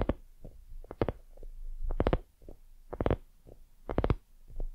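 Long nails on both hands scratch and tap a hollow, white, soft silicone dumpling lamp. Clusters of quick, soft, hollow taps sound over low, muffled rubbing, with brief bright clicks in each burst.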